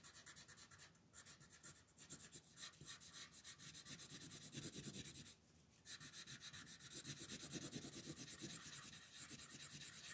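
A red wooden colored pencil rubs back and forth over a thin paper coloring book page resting on a table, shading in a dinosaur's legs. Quick, bright, scratchy strokes repeat at about three per second, with a soft low rumble underneath. The shading pauses briefly near the middle before resuming.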